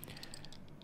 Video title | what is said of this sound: Zelda Triforce Hanayama Limited Edition puzzle - how to solution | when I shake it you can hear a lot of rattling noises inside